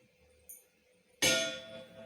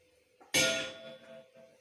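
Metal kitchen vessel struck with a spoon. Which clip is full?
The second.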